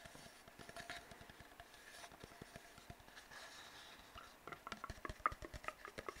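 An empty, hollow brown cardboard tube is tapped with fingertips and scratched with nails. The result is quiet, soft scratching and a patter of dry, short taps that grow more distinct toward the end, with a faint hollow tone around 1.2 kHz.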